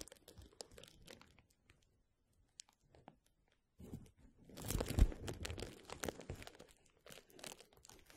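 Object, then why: Plastic bubble wrap. Fingertips rub and scratch rolled clear plastic bubble wrap held over the mic. It starts with scattered soft crinkles, goes almost silent apart from a few faint ticks, then builds into dense, louder crinkling and rustling with a low, rumbly body. The crinkling peaks around the five-second mark before easing into lighter scratches.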